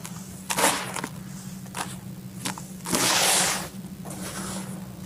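Bare hands scoop dry, loose red soil from a full bucket, let it pour back and press into it. Short grainy, dusty crunches give way to a longer bright, hissing pour near the middle, then softer crumbling. A steady low hum runs underneath.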